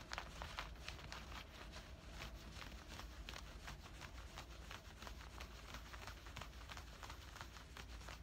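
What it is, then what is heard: Cotton cargo pants, fabric scratched. Fingers scratch and rub worn camouflage cargo pants made of woven cotton fabric at the hip and pocket. The result is a steady run of quick, dry, bright scratching strokes over a soft low rumble.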